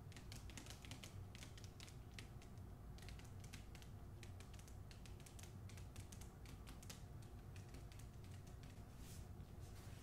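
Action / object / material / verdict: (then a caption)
tap / hardcover book with paper-jacketed cardboard cover / cardboard / none. Long nails rapidly tap and scratch the front cover of a hardcover book with a paper dust jacket and cardboard cover, held in both hands. Crisp, bright clicks and scrapes come in quick, uneven bursts over a steady low hum, and the overall level stays quiet throughout.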